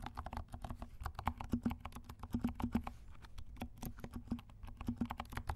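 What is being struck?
Plastic mechanical keyboard.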